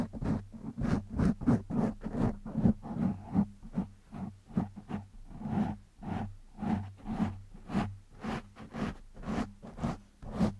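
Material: Foam.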